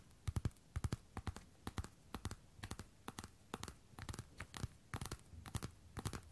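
Long red and black nails tap and scratch the hard glossy fronts of a worn pair of black patent platform boots. Quick, uneven clusters of short, dry clicks each carry a low thud and a bright tick, with faint scratching between them.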